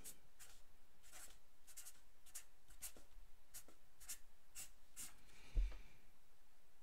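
A black felt-tip pen scratches across a thin white paper sheet lying flat on a wooden table in quick writing strokes, each a soft, bright, papery scrape. Near the end a low, dull thump is heard as the hand moves off the sheet, leaving a quiet hiss.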